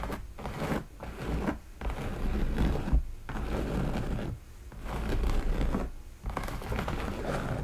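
Long nails scratch and tap along the embroidered leather shaft of a hollow, empty black leather cowboy boot with decorative stitching. Soft, low-heavy rustling scratches come in bursts separated by brief quiet pauses, with occasional light taps.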